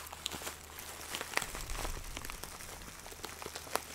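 A hand-sized clear plastic zip bag filled with dry loose herb buds is squeezed and crinkled with fingertips close to the mic. It makes a continuous soft, bright crackle and rustle, with a few sharper crisp snaps standing out above it.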